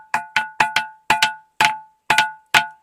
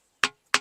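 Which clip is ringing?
The first.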